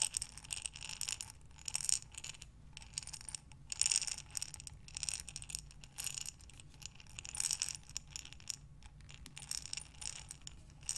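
A glass mason jar with a metal lid, full of buttons, is turned and tilted by hands with long dark nails. The buttons shift and rattle inside in bright, clicky bursts with very short decays, rising and falling in waves across the clip.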